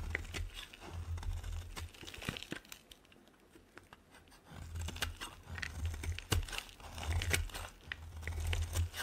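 A solid, dry white bar of soap is shaved with a metal blade, producing crisp scraping, crinkling and crunching sounds as flakes come away. Irregular sharp cuts sit over a low, heavy rumble, with a quieter stretch in the middle before the shaving picks up again.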